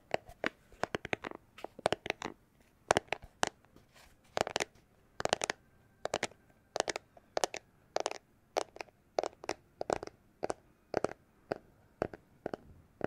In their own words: it's a plastic glasses holder case